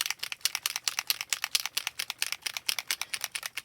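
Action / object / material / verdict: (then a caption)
shake / plastic ink bottle with metal mixing ball / metal / loose. A plastic bottle of rose gold mixative, an alcohol ink additive, is shaken until the metal mixing ball inside rattles freely. About 29 quick, bright, dry clicks come in a steady but uneven rhythm, with almost no low end and no ring. The free-moving ball shows the contents have loosened and are being mixed.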